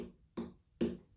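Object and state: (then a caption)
Ripe watermelon. Two knocks on a watermelon, each a short hollow thump with a low resonant tone, fading quickly. The hollow sound marks the watermelon as ripe.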